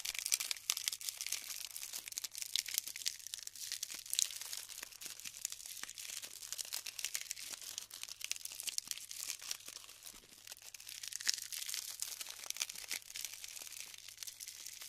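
Hands pick up clusters of small styrofoam balls stuck together with glue and crush the clumps with their fingertips. A dense, continuous stream of bright, high crackles, crinkles and tiny snaps is heard with no low end, swelling and easing slightly in intensity throughout.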